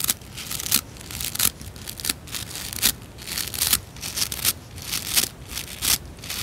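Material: Nylon.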